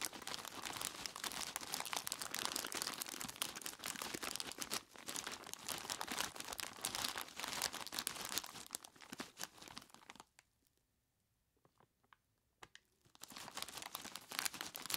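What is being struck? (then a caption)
Plastic bag full of ice cubes. Both hands squeeze and rub a large clear plastic bag full of ice cubes with their fingers, crinkling the plastic and crunching the ice in a dense, bright stream of rustles and crackles. Around the ten-second mark the handling nearly stops for a couple of seconds, leaving only a few faint clicks, then the crinkling and crunching pick up again.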